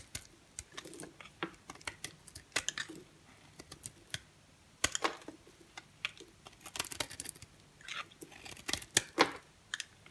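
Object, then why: Bar soap scraped with a blade. A dry, brown-and-cream striped rectangular solid bar soap is held in the hand and scraped with a green box cutter blade, forming long curled shavings. The result is a quick, irregular series of short, crisp, bright scraping and crackling strokes with almost no low end and no ringing, separated by brief quiet gaps.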